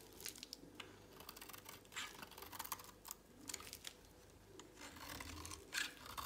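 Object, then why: Soap bar. A solid, dry, pale green soap bar held in a hand is shaved with a utility knife blade. The blade gives a run of quiet, crisp scraping and crackling strokes, bright and papery with little low end, some short and some drawn out, with a sharper crunch near the end.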